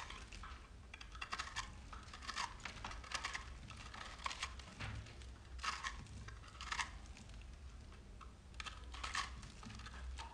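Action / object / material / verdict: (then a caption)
scrape / soap bar cut with a metal knife / soap / none. A rectangular solid bar of soap, speckled green, pink and white, is held in one hand and shaved with a metal knife blade held in the other. Quiet, crumbly scraping and cutting strokes come in repeated bright, crackly bursts over a steady low background rumble.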